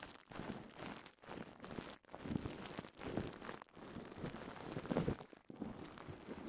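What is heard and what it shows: A twisted strip of clear polyethylene bubble wrap is pinched, twisted and popped with fingertips. It makes a steady run of soft crinkling and crackling, with small bursts of popping that swell and fade over the clip. The sound is quiet and close, weighted toward low and mid tones with little brightness.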